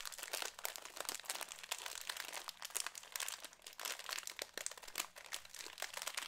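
A small, apparently filled Cheetos snack bag made of foil-lined plastic is crinkled and squeezed with fingertips close to the microphone. The result is a steady stream of bright, crisp crackles and crunchy rustling, with sharp peaks that fade almost instantly and very little low end.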